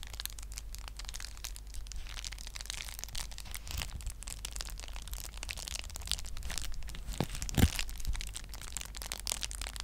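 A clear plastic bubble wrap sheet is held in both hands, squeezed and scratched with long nails so the bubbles are crushed. Dense crinkling and crackling clicks run throughout, with a low steady hum underneath, and a few sharper pops stand out near the end.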